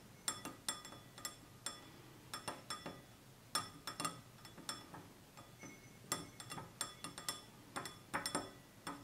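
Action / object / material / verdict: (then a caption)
tap / glass drinking tumbler / glass / none. Fingertips and nails tap the rim and sides of a small, empty, stemless clear glass tumbler with a red-tinted base standing on a table. About 28 quick, bright clinks and ticks ring high and die away fast, in irregular clusters over nine seconds.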